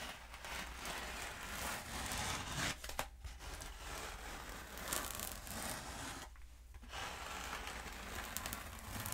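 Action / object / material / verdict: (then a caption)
scrape / foam pool noodle tube / foam / none. Long nails tap and scratch the surface of a long, black, hollow foam pool noodle held upright. The result is a steady, dry, crinkly scratching with quick soft taps, bright and hissy, with brief quieter pauses around 3 and 6.5 seconds.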